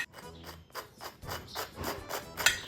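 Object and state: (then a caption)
French toast with a crispy crust. A second crunch test on French toast made from bread in a whey egg batter and fried. Brief, bright crunching bursts are heard, with a sharp crackle near the end. The outside is crispy while the inside is still soft.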